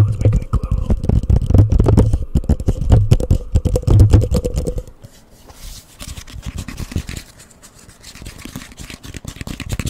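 A hollow, empty orange plastic cup placed over a microphone is rapidly tapped with fingernails, giving dense, boomy, hollow knocks with a low resonant thump. About halfway through, the sound drops much quieter into softer, muffled rustles and light taps as the cup is lifted off the mic at the end.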